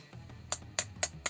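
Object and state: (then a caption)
Hollow-sounding plastic earbud charging case. Four quick, bright clicks as the matte, slightly grainy plastic charging case of Sony WF-XB700 true wireless earbuds is handled, with a transparent lid. The clicks are sharp and short with almost no ring, giving a hollow sound that reads as cheap build, the lid seeming as if it could break fairly easily.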